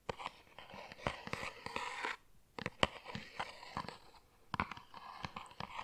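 A tall printed cardboard tea carton, held upright in front of a microphone, is tapped and scratched with fingernails. Sharp, dry taps mix with bright, crackly scratching in an irregular rhythm, pausing briefly partway through before resuming.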